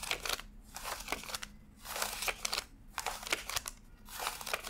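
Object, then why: Stack of paper banknotes. Fingertips flick and rub thin US $100 paper bills one by one from a stack fanned on a desk while counting them. Bright, crisp papery rustles and sharp snaps come in repeated bursts separated by brief quiet gaps, over a faint steady low hum.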